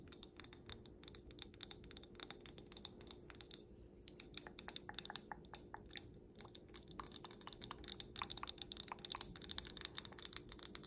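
A small stemmed wine glass filled with pink glitter is held up and tapped on the bowl with long black nails. Quick, light taps make bright, crisp clicks that die away almost instantly, with brief pauses between bursts and a faint steady hum underneath.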